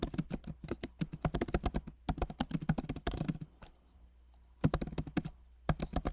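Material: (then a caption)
Plastic. Both hands type rapidly with their fingertips on a backlit MacBook Pro Magic Keyboard, which has plastic keycaps set in a solid aluminum body. About 35 short, dull key taps are heard, mostly low and soft with little brightness, each dying away almost at once. Typing comes in quick bursts, with a near-silent pause after about 3.8 seconds before it resumes.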